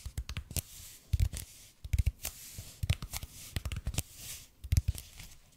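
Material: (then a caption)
EPP foam. Fingertips tap and scratch the surface of a red and white speckled expanded polypropylene foam roller, about 30 cm long, held in both hands. Soft, dull low thumps come at an uneven pace, mixed with bright, dry scratching hiss between them. The taps are short and die away almost instantly.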